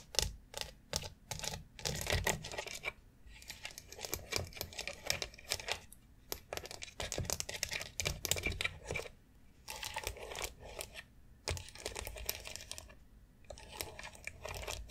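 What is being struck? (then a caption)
Hollow molded plastic foot massage board with rounded nubs. Long acrylic nails tap and scratch a long white foot massage board of hollow molded plastic covered in rounded plastic nubs. Quick, bright clicks and clacks come in rapid, uneven bursts, mixed with dry scratching rasps across the nubs. Brief pauses break up the otherwise continuous clatter.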